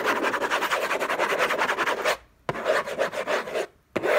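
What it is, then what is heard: Cardboard box scratched. Fingertips and nails scratch back and forth across the hollow lid of an orange Hermès cardboard gift box, making a dense, rough rasping with many quick strokes. The scratching runs in three bursts separated by two short silences, with a dry, papery, mid-to-high tone and little low end.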